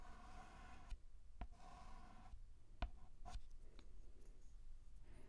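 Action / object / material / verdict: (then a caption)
scrape / chalk stick on a chalkboard / chalk / none. A white chalk stick is drawn in line strokes across a black chalkboard, outlining the letter T. Scratchy, faintly tonal strokes alternate with brief pauses. Several sharp, short taps stand out as the chalk meets the board.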